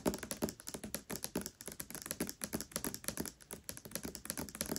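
Long nails tap and scratch quickly across the paper dust jacket of the hardcover book *Tress of the Emerald Sea*, which lies flat. About three dozen short, dry taps with a bright scratchy edge follow one another rapidly, each clicking off almost at once.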